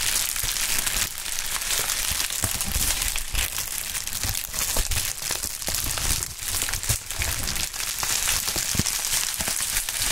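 A pink plastic bubble wrap sheet is bunched between two gloved hands and crumpled and squeezed. It makes a steady, dense, bright crinkling over ten seconds, with scattered sharp crackles and small pops throughout.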